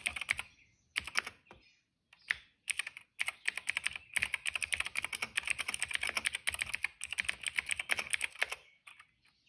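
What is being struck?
Plastic mechanical keyboard.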